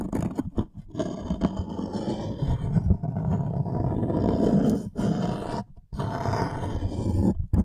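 Fingernails scratch and tap across the surface of a thin, light wooden serving tray held upright behind the mic. The scratching comes through as a dense, low, rough rasp that sounds almost like a growl or roar, broken by a few short pauses.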